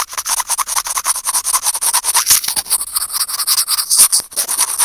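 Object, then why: Small plastic earphone mic remote scratched with steel tweezers. Curved steel tweezers scratch rapidly back and forth across a small, hollow white plastic earphone mic remote. The result is a dense run of short, crisp scraping strokes, bright and hissy with almost no low end.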